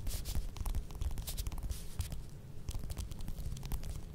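Long nails scratch and tap the peel of a small, solid, whole mandarin orange held in the hands. The result is a steady, close, soft scratching and rustling with a low, rumbly body, broken by brief bright crackly taps.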